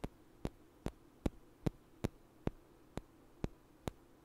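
Two small, solid, light wooden blocks are knocked together and tapped with fingers in front of the mic, giving ten short, dry knocks at a roughly even pace, each sharp click dying away almost at once. A faint low hum runs steadily underneath.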